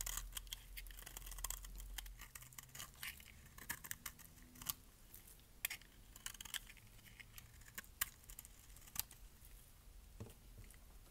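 A metal blade scrapes flakes off the surface of a solid orange bar of dry soap onto a pile of shavings. Dry, crisp scratching and sharp bright clicks come in irregular bursts over a faint low hum, which is louder in the first two seconds.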